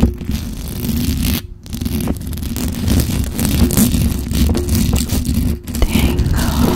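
Long acrylic nails scratch and tap rapidly across the hollow metal mesh grille of a black microphone, producing a dense, continuous scraping rustle with a heavy low rumble. The sound pauses briefly about a third of the way in and again near the end before resuming.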